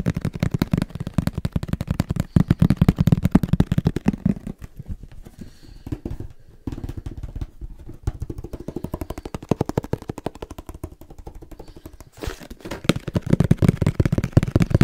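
A small, hollow, black printed cardboard camera box is held close to the mic and tapped quickly with fingertips. The result is a rapid, irregular stream of short, dry, low hollow thuds. The tapping is loud and dense at the start and end, and softer and lighter through the middle.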